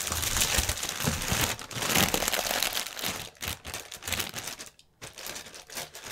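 Fingertips crinkle, rub and tap the film of a clear, inflated plastic air pillow packaging strip. The result is dense, bright, crackling crinkles with a few soft low thumps. The sound eases toward the end, with a brief near-silent pause before the crinkling resumes.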